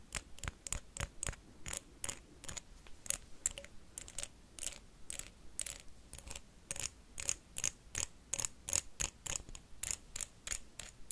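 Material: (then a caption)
Wax. A blue wax candle is tapped and scratched quickly with paperclips, producing a steady stream of sharp, bright clicks and scrapes. The hits are short and dry, with almost no ring.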